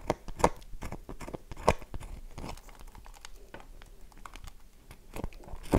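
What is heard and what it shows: A solid, dry, light-blue bar of soap is gripped in the hand and scratched with long nails, scattering shavings. Dry, crumbly scratches and crisp clicks come in irregular bursts, with a few louder, sharper strokes standing out against quieter rasping.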